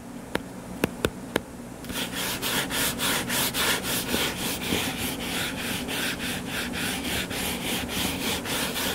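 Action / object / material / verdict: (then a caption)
scrape / paperback book cover / paper / none. Four sharp taps land on a solid purple-covered paperback book lying flat. Fingernails then scratch its cover in quick, steady back-and-forth strokes, each one a bright, hissing rasp over a faint low hum.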